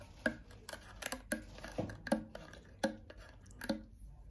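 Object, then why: Small metal food tin can. Long painted fingernails tap and scratch a small cylindrical metal tin can with a red paper label, held in the hand and likely full and sealed. A series of quick, sharp clicks with a short, faint metallic ring around a low-mid tone is heard, separated by soft, brushing scratches, all at a quiet level.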